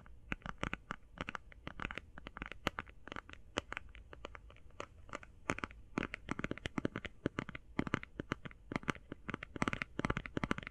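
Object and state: Eye shadow palette tapped.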